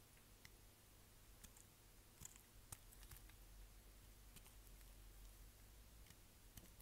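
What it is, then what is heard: Dry glycerin soap being cut. A dry, solid green translucent glycerin soap bar with white stripes is repeatedly cut and scraped with a utility knife blade over a pile of soap chips. About a dozen short, bright, crisp clicks and crunches stand out, each dying away almost instantly. A steady low hum sits underneath at a quiet level.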